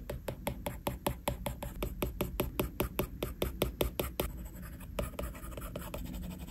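A plastic stylus tip scratches quick shading strokes across the flat glass screen of an iPad. Dry, crisp scratches repeat rapidly and fairly evenly for about four seconds, then slow into fewer, softer strokes with a faint low hum underneath.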